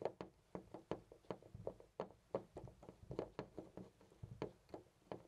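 A hand grips a loose brass-colored metal knob on a white interior door and jiggles and rattles it in place. The result is a quick, uneven series of short, dry clicks and knocks with a mid-pitched metallic tone around 540 Hz and almost no ring.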